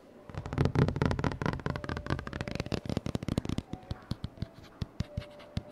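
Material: Paperboard.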